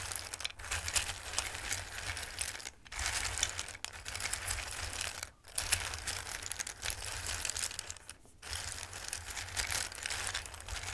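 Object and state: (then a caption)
Dry raw pasta. Fingertips with long red nails rub and shuffle through a dark bowl full of hard, dried tricolore Christmas-shaped pasta pieces. The result is a dense, bright, crisp rustling and clicking that runs almost continuously, broken by a few brief pauses. A steady low hum sits underneath.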